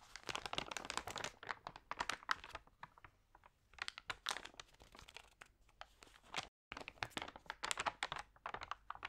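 A hand with long nails flips and crinkles the thin, damp pages of a thick magazine lying open. Dense, bright crinkling and rustling comes in bursts, with quieter gaps between page turns and a brief silent break just past the middle.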